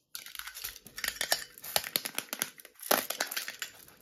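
Long red-painted nails tap and scratch a small, hollow, rectangular printed metal tea tin. The result is a rapid, dense stream of sharp, bright clicks and scrapes with crinkly texture and almost no low end.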